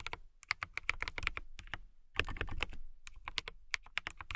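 Fingertips and long nails type on a transparent acrylic mechanical keyboard with clear keycaps. Rapid, bright, clicky keystrokes sound in quick bursts with a low thock beneath, each key dying out almost instantly. A brief pause falls near the middle before the typing resumes.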